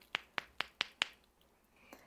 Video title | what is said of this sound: MINI SALGADOS DE BACON! Receita Fácil e Lucrativa com Dicas de Congelamento | Quando eles estão congelados, eles ficam assim com esse som de pedra.